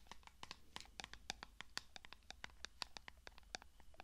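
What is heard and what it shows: Long nails scratch and tap the hollow silver studded lid of a small clear glass cosmetic jar, making a rapid run of short, bright clicks and scrapes. At the end the jar is held closer to the mic while the scratching continues.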